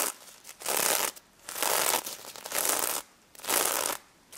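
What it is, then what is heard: Sequin-covered plush toy scratched. Long nails scratch across the plastic sequins of a small pink stuffed pig toy held in both hands. Bursts of bright, crinkly, hissing rustle rise and fall in repeated strokes, separated by short quiet gaps.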